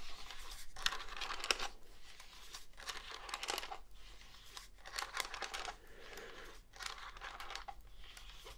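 Fingernails scratch and tap the hollow body of a black plastic cordless phone handset in bursts of dry, bright scratching and crackling. Short sharp clicks from the taps stand out here and there, with brief quiet gaps between the bursts.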